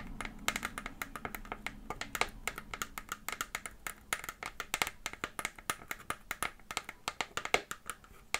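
The base of an empty, hollow, clear PET plastic water bottle is tapped and scratched with long fingernails, producing a rapid stream of dozens of sharp, bright plastic clicks. Each tap dies away almost instantly, with a faint low hum underneath during the first few seconds.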